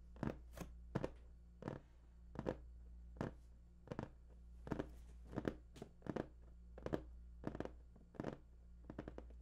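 Fingertips tap and scratch the top of a large, hollow, printed cardboard PS4 box, making an irregular string of short, dry, hollow taps. Faint scratchy rustles fall between the taps over a steady low hum, and each tap dies away almost at once.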